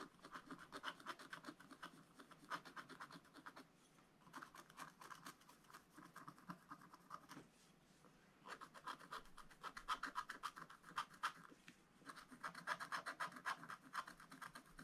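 A wooden stylus scratches fine lines into the black wax-coated scratch-art card of a spiral-bound book, which lies flat and solid on a table. Quick, dry, raspy strokes come in bursts with short pauses, bright and papery with most energy around 1.3 kHz.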